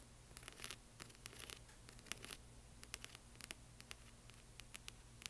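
Long fingernails tap and scratch over rows of small plastic half-pearl stickers on a flat clear-film sheet lying on a black cloth. The result is a quiet run of many short, dry, bright clicks and scratchy ticks that die away at once, over a faint low hum.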